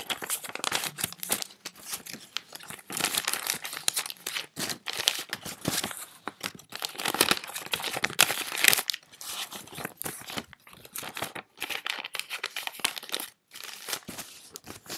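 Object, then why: Handful of paper banknotes. A handful of thin paper US dollar bills is rubbed and crinkled between fingertips and counted from hand to hand. Dense, crisp, bright crinkling and rustling comes in quick bursts with brief gaps, with almost no low end.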